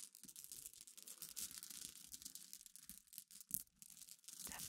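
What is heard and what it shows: Long iridescent fingernails scratch and rub across a pile of small, clear, solid glass pebbles resting on black cloth. The result is a quiet, dense stream of bright, crackly clicks and gritty scratching, almost all in the high range with very little low end. One sharper click stands out about halfway through.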